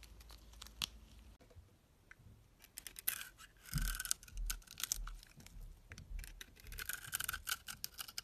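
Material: Soap.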